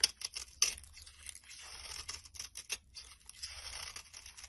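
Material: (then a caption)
Soap. A metal blade scrapes and shaves the surface of a solid brown bar of soap held in the hand. Dry, bright, crisp scraping and flaking strokes come in an uneven rhythm, some sharp and short, others drawn out into a soft rasp, with almost no low end.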